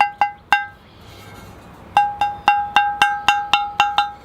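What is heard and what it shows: A well-made, high-quality ceramic bonsai pot is tapped twelve times, three early taps, a pause, then a steady run of nine. Each tap gives a clear, bell-like ring around 820 Hz with bright overtones. The ring marks a good, uncracked pot, one a cheap pot would not give.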